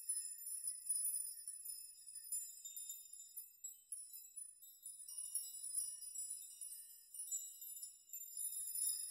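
Spread hands sweep through a chime of hanging metal nails, setting them jingling against each other. A quiet, continuous shimmer of bright, high metallic tinkles swells and fades in waves, with no low end at all.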